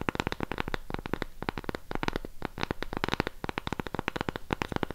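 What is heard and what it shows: Long pink nails scratch and tap the surface of a round cork coaster held upright. A rapid, uneven run of dozens of short, dry taps and scratchy clicks follows, each dying away almost instantly.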